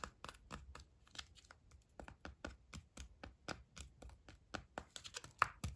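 A small pink-and-white Kinder-style chocolate egg, wrapped in printed aluminium foil with a solid chocolate shell and a hollow inside, is held in the fingers and turned over while fingertips and nails tap and rub the foil. The result is a quick, uneven run of about 22 crisp, dry clicks and crinkles with a bright edge, each dying away almost instantly, over a quiet background.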